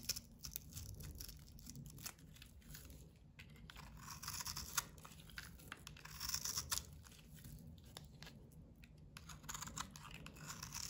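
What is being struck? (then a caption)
Bar of soap. A solid bar of soap with a blue painted, textured coating is held in the palm and scraped with a box-cutter blade, shaving off soap crumbs. Rapid, dry scraping and crinkly tearing sounds fill the clip, bright and crisp with short bursts over a faint low hum.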